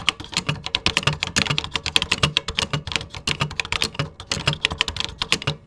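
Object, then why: Plastic computer keyboard. Fingertips type steadily on a vintage 1980s computer keyboard with cream plastic keycaps. About 35 quick, bright clacks come with a soft low thump as the keys bottom out. Each click dies away almost instantly in a continuous, uneven rhythm.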